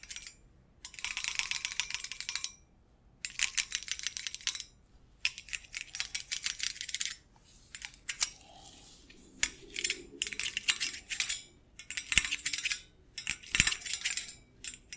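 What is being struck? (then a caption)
Stainless steel wire cooling rack. Fingers wearing metal thimbles tap and scratch a medium stainless steel wire cooling rack with thin rods, close to the microphone. Bursts of rapid, bright, tinny clicking and rattling, almost all high-frequency, are separated by brief pauses. Each tap dies away almost instantly with little ring.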